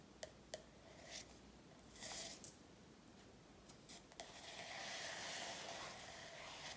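Long nails tap and scratch the glossy front cover of an A4 paperback workbook lying flat. Several sharp, quiet taps are spread across the clip, mixed with brief bright scratching strokes. A sustained, hissy scratch runs from about four seconds to the end.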